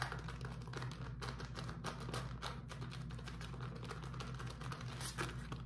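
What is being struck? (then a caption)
Beeswax-coated cotton wrap. A beeswax-coated cotton food wrap, rolled into a tube and held in both hands, is scratched and squeezed with the fingertips. It makes a quiet, steady stream of rapid, bright crinkling taps and sticky crackles over a constant low hum.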